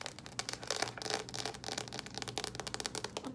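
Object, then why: Plastic microwave food cup with lid. Long acrylic nails rapidly tap and scratch a hand-sized, hollow, apparently sealed plastic Annie's microwavable mac and cheese cup with its label and lid on. The result is a fast, irregular stream of bright, crisp clicks and crinkly ticks, mostly in the high end, each dying away almost instantly.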